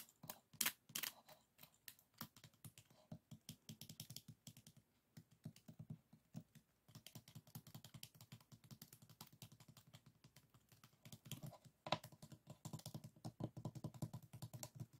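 Fingertips and nails tap and scratch the stacked bamboo ribs of a closed folding hand fan. The result is a quiet, rapid stream of dry clicks and scrapes, each with a soft low-mid body and a crisp, bright edge. A few louder taps stand out near the start and around the twelve-second mark.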